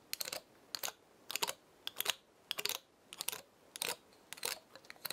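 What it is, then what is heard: Dry pinecone. A long nail flicks and scratches the woody scales of a small dry pinecone held in the hand. Quiet clusters of short, dry, bright clicks and scratchy ticks come in uneven bursts, with brief pauses between them and no ringing after each one.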